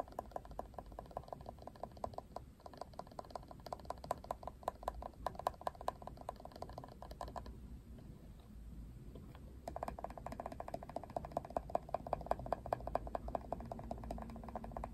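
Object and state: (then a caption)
Plastic paddle hairbrush. Fingertips and nails tap and scratch the printed back and plastic bristles of a hand-sized, Barbie-printed Wet Brush, a hollow-backed plastic paddle brush with a pink rim, held in both hands. Quick, dry plastic clicks come in dense runs with a hollow midrange tone around 676 Hz. Around the middle the tapping drops to a softer, hissy scratching for a couple of seconds, then the rapid clicking returns.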